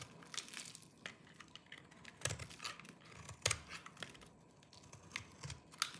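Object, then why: Soap bar scraped with a small knife. A hand-sized solid bar of dry green soap is held in one hand while a small knife with a yellow-tan blade shaves and scrapes its surface, knocking crumbly flakes off. The clip is a quiet run of dry, crisp scraping and crunching with brief bright snaps and very short decay. The strongest cuts stand out at about 2.3, 3.5 and 5.8 seconds.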